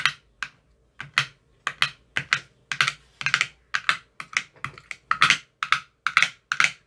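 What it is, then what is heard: Plastic ice cube tray with silicone cups. A metal rod with a white tip taps the green silicone cells of an empty clear plastic ice cube tray. It makes a rapid, uneven series of short, crisp, bright taps, some landing in quick clusters, each dying away almost at once. There is little low end.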